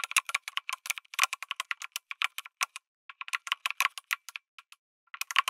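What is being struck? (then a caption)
Mechanical keyboard with aluminium case and plastic keycaps. Fingertips type on a lit mechanical keyboard with an aluminum case and plastic keycaps. Rapid, bright, clicky keystrokes run in quick bursts, with short pauses near 3 and 5 seconds. Each click is dry and stops almost instantly, with nothing in the low end.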